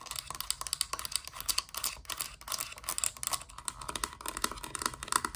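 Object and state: Hard plastic toy playset.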